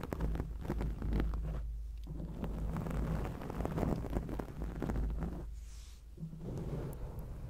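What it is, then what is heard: Foam microphone windscreen being scratched. Long acrylic nails scratch a black foam microphone windscreen, producing a dense, continuous rumbling scrape that sits mostly in the low end, with a deep thudding boom underneath. The scratching varies in texture and eases briefly around two seconds and again near six seconds before picking back up.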